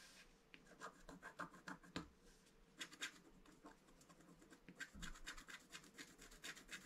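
A wooden stylus scratches the black coating of a flat scratch-art paper card lying on a table. The result is a quiet, irregular run of short, dry scratching strokes with bright, rasping highs.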